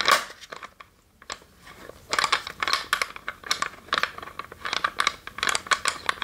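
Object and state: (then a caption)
Wooden chest scratched with fingernails. Long nails scratch across the lid and sides of a small, hollow, varnished wooden chest with a metal latch. Rapid, dry, crunchy scratching bursts sound bright and papery, with a faint tone near 1.1 kHz and no low end. After a brief quiet pause near the first second, the scratching picks up into a busier, denser run.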